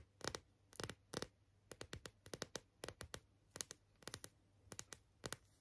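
Long acrylic nails tap and scratch the surface of a small, flat, flower-shaped printed coaster that looks like card or paper, held in both hands. Short, bright, dry clicks and scrapes come in quick clusters with brief pauses between them. Each one stops almost instantly over a quiet background.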